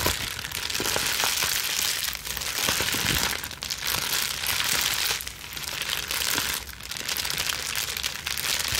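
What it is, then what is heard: Plastic bubble wrap scrunched. A plastic bubble wrap sheet is bunched between hands and quickly scrunched and twisted, with long nails scratching across it. The result is a steady, dense stream of bright crinkling and crackling with occasional sharper pops, dipping briefly in loudness between bursts of scrunching.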